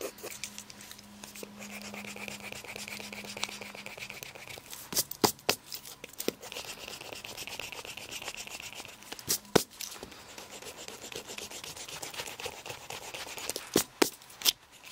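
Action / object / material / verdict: scrape / shag textile carpet / textile / none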